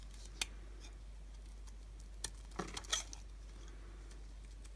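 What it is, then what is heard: Bar of dry soap being shaved with a knife. A utility knife shaves thin slices off the surface of a solid, palm-sized, translucent pink bar of dry soap held in the hand. Short, crisp, bright scraping crunches come sparsely, with a cluster of quick cuts near the end, over a quiet, steady low hum. Each crunch dies away almost instantly.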